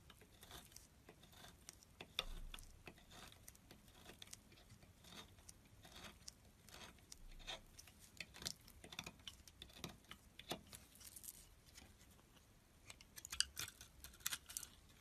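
A metal blade carves thin strips from a solid light green bar of soap, and the strips are then held in the hand. Quiet, bright, crisp scraping and cutting clicks come in quick, irregular bursts, with a few sharper snaps near the start and end.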